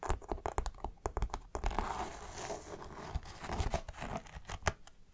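Long nails scratch and fingertips rub the stiff coated fabric of a dark green polyester backpack, close up at a seam and a webbing tab. The result is a fast run of dry, crinkly scratches and rustles with low thumps, interrupted by a denser stretch of continuous rubbing.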